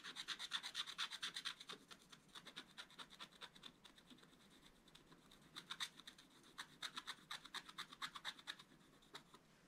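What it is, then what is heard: Wax-coated scratch-art paper page. The tip of a wooden stick is scratched rapidly across a wax-coated scratch-art paper page while the other hand holds the book. Quick, bright rasping strokes come in dense bursts with a strong hiss centered near 3.5 kHz. The scratching eases into quieter scraping around the middle, then resumes in another run of brisk strokes.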